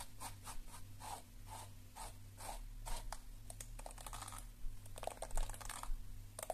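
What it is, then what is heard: Plastic detangling hairbrush. Long nails scratch across the bristles of a lilac plastic detangling hairbrush and tap its plastic shell, giving a run of soft, bright scratching strokes. Sharper clicks follow toward the end. A steady low hum sits underneath throughout.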